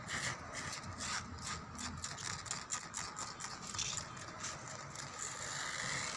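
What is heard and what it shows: Fingernails and fingertips scratch across a solid, whitewashed concrete pillar with rough, peeling paint, set in an outdoor lattice wall. Repeated bright, dry rasping strokes run almost continuously, with quick swells as each pass drags over the rough surface. A faint low rumble sits underneath.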